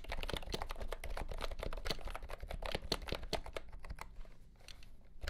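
A compact pastel green plastic keyboard with round keycaps and a hollow body, under green light, is typed on with fingertips. The result is a fast, uneven run of short, dry, clacky key presses, each with a hollow low thump and a brief bright click that stop almost at once, easing slightly in the last second.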